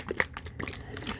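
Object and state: Bottle of thin liquid lotion.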